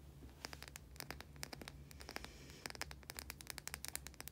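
Long nails scratch the surface of a small, white, solid bar of soap held in both hands. Quick bursts of crisp, dry scratching and clicking ticks sound over a faint, steady low hum.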